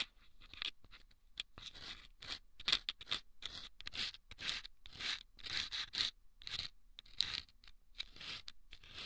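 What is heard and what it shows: Wooden toothpicks scrape the sandpaper inside two small hollow rolled sandpaper tubes fitted over microphone ears. The result is a run of short, bright, gritty scratching strokes separated by brief pauses, with almost no low end and nearly no ring after each stroke.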